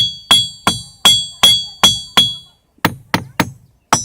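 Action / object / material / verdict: strike / stone boulder / stone / none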